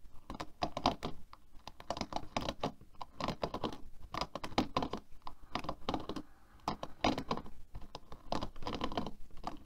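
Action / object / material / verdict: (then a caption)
tap / plastic hairbrush bristles / plastic / none. Long nails rapidly tap and strum the plastic bristles of a black plastic hairbrush lying on a table. The result is a dense, continuous patter of short, dry clicks with a soft low-mid body and bright ticking edges, much like fast typing on a keyboard.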